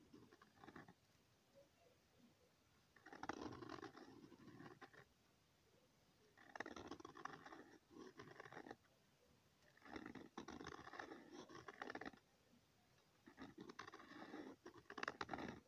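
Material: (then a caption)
Paper. A pen tip draws circles on a thin, flat sheet of lined notebook paper, making soft, dry scratching strokes. The scratching comes in five separate bursts, each a couple of seconds long, with quiet pauses between them. The sound is quiet and papery, with a raspy texture that stretches into the high range.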